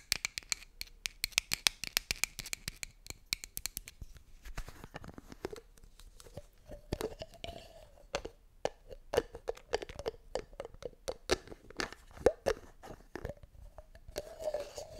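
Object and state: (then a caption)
Cardboard medicine box tapped and scratched with nails. Long nails tap and scratch the sides and edges of a small, hollow blue and white cardboard medicine box. A quick run of sharp, bright clicks comes first, then scraping strokes with a faint hollow tone near 500 Hz, broken up by more dry taps.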